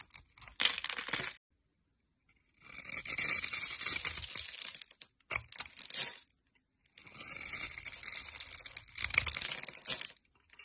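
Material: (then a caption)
Soap. A metal blade cuts through a hand-held solid orange soap bar with an embossed logo, scored in a grid, releasing small soap cubes. The bright, crisp scraping and crumbly crunching come in several bursts separated by short silences, with almost no low end.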